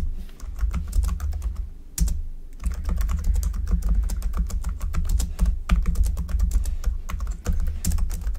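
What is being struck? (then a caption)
Plastic computer keyboard. Fingertips of both hands type steadily and continuously on a black plastic computer keyboard. Rapid, dry keystroke clicks with a deep low thump run together, with brief gaps near 2 and 5.6 seconds, and each click dies away almost instantly.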